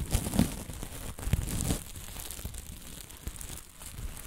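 Dark fabric covered in green and blue plastic sequins is scratched flat with long nails, then picked up, bunched and crumpled in both hands. The result is a dense, irregular crinkling and scratchy rustle with a low, muffled body and faint bright sparkle, loudest in the first couple of seconds before settling into quieter, steady crumpling.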